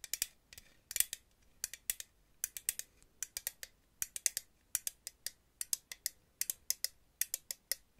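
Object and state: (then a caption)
Metal aerosol can tapped with nails. A purple Aussie aerosol hairspray can, hollow metal with a clear plastic cap, is held upright and tapped and scratched with paper-clip nails. The result is a quiet, steady run of sharp, bright, dry clicks and ticks that stop almost instantly, with almost no low end.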